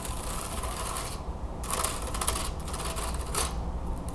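A wooden hand fan with carved slats is opened in the hands and then laid open on a table while long nails scratch and tap the thin slats. Bursts of bright, dry scratching and clicking come and go over a steady low hum.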